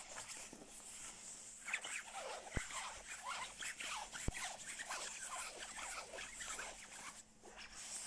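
Fingertips scratch and rub the shell fabric of a soft, padded black quilted nylon down jacket lying on a bed. The result is continuous bright, crinkly rustling and scratching, with two sharp clicks standing out partway through.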